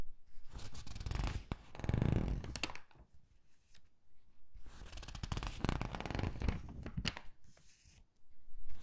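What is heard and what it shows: Fingertips pinch and squeeze the corners of a thin, glossy paper gift catalog and turn its pages, making bright crinkling and rustling with soft, low handling thumps. The sound comes in two dense bursts separated by quieter stretches of light paper movement.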